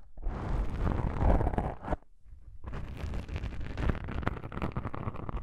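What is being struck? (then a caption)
Foam microphone windscreen. Long pink-painted nails scratch two small black foam windscreen covers on a binaural microphone, producing dense, crackling, rumbly rustles that are heavy in the low end. The scratching stops briefly at about two seconds, then resumes as rapid, irregular scraping and popping until the end.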